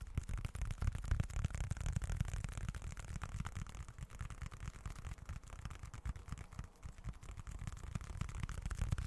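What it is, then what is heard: Leather wallet being scratched. Fingertips scratch across the grained, leather-look surface of a small, dark, folded leather wallet. The result is a quiet, dense, continuous rasping with a heavy low rumble and rapid, uneven strokes throughout.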